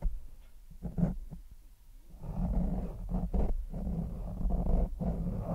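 A grey foam windscreen covering a large microphone is lightly rubbed and scratched with the fingertips and nails of one hand. The result is a deep, muffled rumbling and soft thudding, with almost all the sound sitting in the low range around a dull 180 Hz tone. It swells in brief bursts and ripples with no bright edge.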